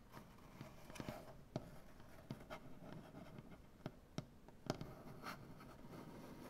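Both hands scratch at a large solid maple butcher-block tabletop with their fingernails. The result is a quiet, low, steady rasping, broken by several sharp, dry nail clicks that die away almost at once.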